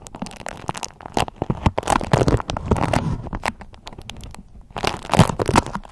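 A thin, waxy beeswax-coated cotton food wrap is squeezed and crinkled in both hands while long nails scratch and crumple it. The result is a dense, irregular run of sharp crackles and rustles with a low body and bright edges. The sound eases off in the middle before a louder burst of crinkling near the end.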